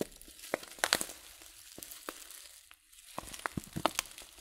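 A filled, glossy coated-paper tea packet of loose-leaf tea is turned and crinkled in the hands. Quiet, bright, sharp crackles and crinkles snap out irregularly over a soft rustling bed, with a brief lull in the middle before the crinkling picks up again.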